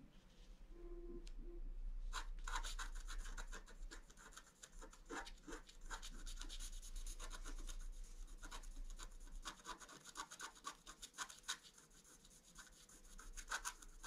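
A wooden stylus scratches across the top of a design on a flat scratch-art sheet of black coated paper while the free hand moves briefly. After a quiet opening of about two seconds, rapid, dense, bright scratching strokes run steadily to the end, easing slightly around ten to twelve seconds before picking up again. A low steady hum sits underneath throughout.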